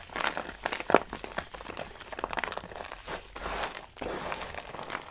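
Pale green dry soap shavings are rubbed and crumbled between fingers with long pink nails, giving a steady stream of dry, crisp crinkling and crunching. The soft crackles cluster in the mids with bright flecks and no deep tone, rising in a few louder bursts before settling back.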